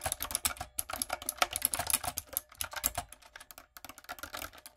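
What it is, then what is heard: Plastic mechanical keyboard. Fingertips and long acrylic nails type quickly on a light-up, typewriter-style plastic mechanical keyboard with round plastic keycaps. A steady run of sharp, bright clacks and clicks follows, each dying away almost at once.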